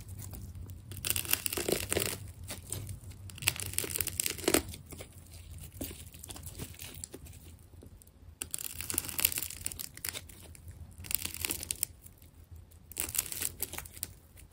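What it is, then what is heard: Plastic tape ball being cut. A small metal blade scrapes and cuts strips from a red and white wound plastic tape ball that has been partly carved into an elongated shape. Bursts of bright, crackly tearing and crinkling come and go over a steady low hum, with quieter scraping between them.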